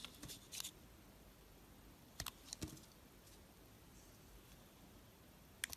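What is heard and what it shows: A box cutter blade slices thick slabs off an oval white soap bar with a solid gold-coated surface, held in the hand. Quiet, crisp, bright cutting crunches come in short bursts separated by near silence, each dying away almost instantly.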